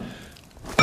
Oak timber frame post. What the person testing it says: you can hear that it's ringing quite nicely it's it's good solid timber there